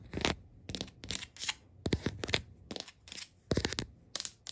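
Long pink acrylic nails tap and scratch a flat, solid, distressed wood-grain tabletop. Quick bursts of dry, crackly tapping and scraping come in irregular clusters with bright, high edges and almost no ring. Short quiet gaps separate them.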